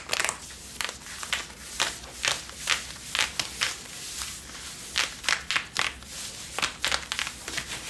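Long nails scratch the back pockets and waistband of worn blue cotton Levi's denim jeans. A quick series of sharp, bright, rasping strokes is heard over a soft fabric hiss, with almost no low end.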